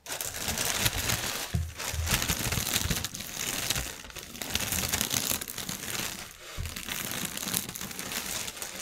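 Fingernails scratch and tap across a strip of inflated, hollow, air-filled clear polyethylene air cushions lying on a table. They make a dense, continuous, bright crinkling and rustling with quick taps. The sound has short dips in level and a soft low thump now and then from the air-filled pillows.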